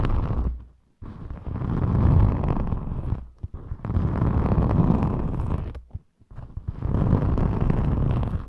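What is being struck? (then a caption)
Thin glitter foam craft sheet scratched with long nails. Long metallic nails on both hands scratch a thin rainbow glitter foam craft sheet, which is then flexed. Three long passages of dense, rough scratching are separated by brief near-silent pauses. The sound is heavy and rumbling, sitting mostly in the low range with little high-end brightness.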